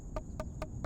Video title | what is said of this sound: When to harvest Watermelon - tips For beginners (Red Juicy 🤤🍉) #watermelon #gardening #garden | when you knock on it and if it sounds hollow it's a good sign that it's ripe